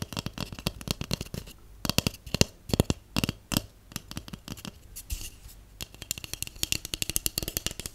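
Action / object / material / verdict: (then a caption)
tap / cardboard tube / cardboard / none. A large, empty, hollow white cardboard tube is tapped and scratched along its side with long acrylic nails and natural nails. Rapid clicky taps come in bursts, each with a dull, hollow low thump and a bright, crisp edge that dies away almost instantly. Brief quieter scratchy stretches fall between the runs of tapping.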